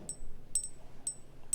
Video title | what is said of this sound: JewelleryMaker Live 10/05/2026 with Cherry Cavill GIA AJP & Suzie Menham | It sounds like metal, doesn't it?